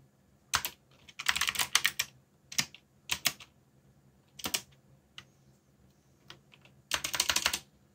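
Fingertips type quickly on a backlit mechanical keyboard with plastic keycaps, producing bursts of bright, sharp clicks with very short decay. The clatter comes in irregular clusters separated by brief pauses, with a few isolated single keystrokes in between.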